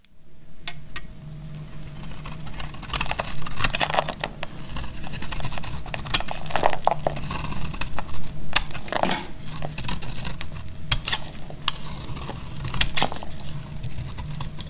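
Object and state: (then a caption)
Dry bar soap shaved with a blade. A hand-sized, solid rectangular bar of dried purple soap is held in the hand and shaved with a metal snap-off utility knife blade, cutting off crunchy flakes. Dense, irregular crunching and crinkling scrapes come in quick succession, with sharp, bright crackles over a steady low hum and a faint constant tone.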